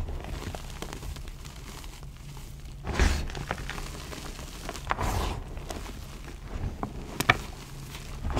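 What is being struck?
Loose pile of crushed gym chalk.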